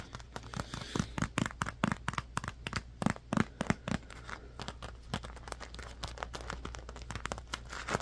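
Fingertips and nails tap and scratch a palm-sized dark blue squishy foam stress cube printed "Believe you can," which has soft foam under a smooth vinyl-like skin. The result is a steady stream of quick, dry taps and soft thuds mixed with crinkly, scratchy rubbing, each hit dying away almost instantly.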